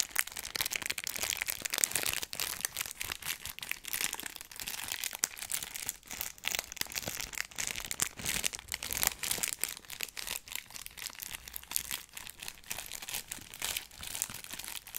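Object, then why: Cardboard box wrapped in cellophane. A small rectangular cardboard box wrapped in clear cellophane is held in one hand and moved around the microphone while the fingers crinkle the wrap. Dense, bright, crackling crinkles run continuously for about 15 seconds with almost no low end, rising and falling as the box shifts position.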